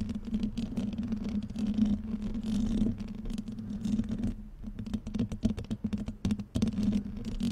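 Painted fingernails and fingertips of both hands scratch directly on the rounded, hollow metal mesh grille of a black microphone held close. The result is a dense, rapid scratchy patter over a steady low hum near 220 Hz, with brief lulls around 4.5 and 6.5 seconds before the scratching resumes.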